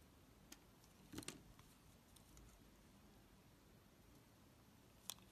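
A utility knife blade scrapes and chips the surface of a solid, oval black soap bar held in the palm. Faint, sharp scraping clicks come in a brief cluster early on, with one more bright chip near the end, over quiet background hiss.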